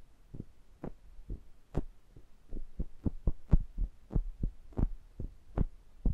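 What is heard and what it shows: Index fingertips tap down on the metal mesh grilles of a stereo pair of small metal pencil condenser mics, making direct contact with them. Repeated soft, deep thumps come at an uneven pace, some with a brief brighter tick on top. Each tap dies away almost at once.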